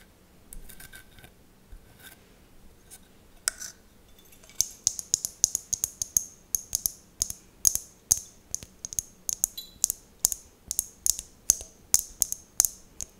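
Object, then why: Small glass mosaic tealight holder. Long nails scratch and tap a small, empty, round hollow tealight holder with an open top, covered in colourful glass mosaic tiles and held close. Faint scratching gives way to a steady run of sharp, bright clicks and ticks. Each one is very short with almost no low end.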